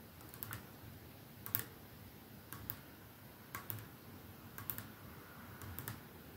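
Fingernails tap the clear glass end of a capsule-shaped perfume bottle with a silver middle band, resting on a dark surface. Short, bright clicks come in six small clusters, about one per second, over a quiet low background hum.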